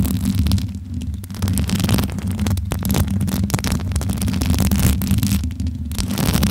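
Long nails tap and rub the hollow metal mesh grille of a bare pink microphone head held in both hands. The result is a steady, close, low rumbling throb overlaid with dense scratchy and crackling bursts that flare bright and then briefly drop away.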